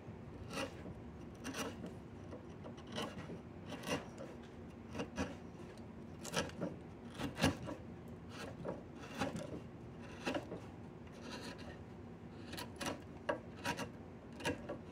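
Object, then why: Diamond willow walking stick. A chisel scrapes along a solid diamond willow walking stick in a steady series of short, rasping strokes. Each stroke is a quick, bright scratch that fades almost at once, heard over a low, constant background hum.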